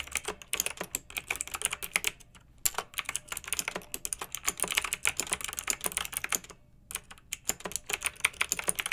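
Rapid typing with fingertips and long nails on a pink backlit plastic mechanical keyboard with round, typewriter-style plastic keycaps. The result is a dense stream of bright, crisp clicks that die away almost instantly, broken by two short pauses, with almost no low end.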